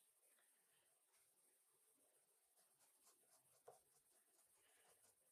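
An orange colored pencil held in the fingers scratches and shades across a small, thin white paper card lying flat on a wooden desk, in steady strokes. The sound is a very quiet, soft, dry scratching with a bright papery hiss and brief rhythmic stroke bursts. One sharper tick stands out near the end.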